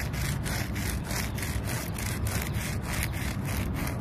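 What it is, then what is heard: Tree bark being scratched. Fingertips and long nails rub and scratch the rough bark of a large, solid tree trunk. The result is a steady, rhythmic scratchy rasp with repeated strokes that brighten in the high range, over a dense low rumble.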